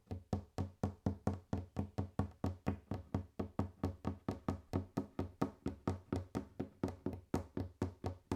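Fingers tap on a wooden table in a steady run of 36 short, dull knocks, about two per second. Each tap is a low, woody thud centered around 94 Hz with a brief click on top, dying away almost at once, with quiet gaps between hits.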